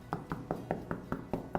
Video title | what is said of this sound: How to Fix Cracks in Old Walls - House Painting | it sounds solid